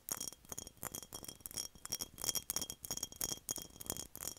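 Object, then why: Glass mason jar. A glass mason jar is tapped repeatedly in quick, uneven bursts, each tap a short, bright clink with very little ring. The sound is mostly high and glassy, with a faint steady high tone running through the sequence of taps.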